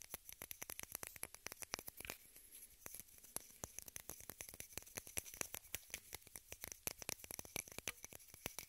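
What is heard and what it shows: Long red nails rapidly tap and scratch a small rectangular pink plastic case held in both hands. The result is a dense, uneven patter of sharp, dry clicks with a bright, high edge and no ring, with a faint scratchy rustle between taps.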